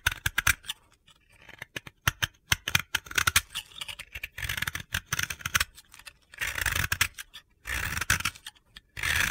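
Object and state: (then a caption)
Dry powdery bath bomb being shaved. A utility knife blade shaves powdery layers off a hand-sized, solid, light blue dry powdery soap ball (bath bomb) held in the fingers. Quick, dry, gritty scraping strokes crackle with bright, hissy crunch, then give way to longer, sustained shaving passes toward the end.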